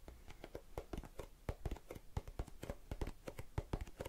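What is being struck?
Plastic tub of cotton swabs.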